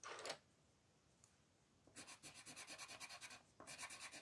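A light green colored pencil rubs back and forth across a flat white paper sheet printed with a mandala, filling in the petals. A brief scratchy burst is followed by a quiet pause, then a run of quick, rhythmic, bright scratching strokes, a short break, and more strokes. There is almost no low end.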